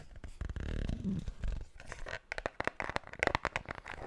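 Long black nails scratch and tap a small, closed, hollow white cardboard Pandora jewelry box held close to the microphone. A low, rumbling scrape in the first half gives way to a run of quick, dry, hollow taps with brighter clicks.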